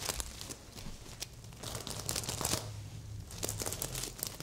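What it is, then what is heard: Sequin pillow being scratched. Fingernails scratch and flip the reversible plastic sequins on a medium, soft stuffed heart-shaped pillow. The result is a steady run of bright, crinkly rustling and scratchy bursts over a soft low undertone.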